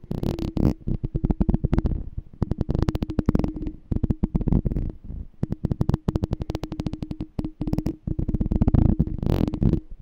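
Fingertips and nails tap and scratch the ridged, embossed silver metal lid of a hollow glass jar held in the hand. Rapid runs of short, dry, low tapping come in bursts with brief pauses, carrying a hollow, humming resonance that dies away almost at once after each tap.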